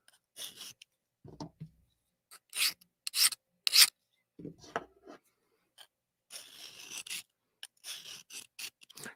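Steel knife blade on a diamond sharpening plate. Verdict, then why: Soft. A soft-steel knife blade is scraped across a diamond sharpening plate in a series of short, raspy strokes with a dull, mushy texture, as if the diamonds are gouging into the steel. Unlike a harder 20CV blade, which skates across with a glassy sound, this one suggests a softer heat treat.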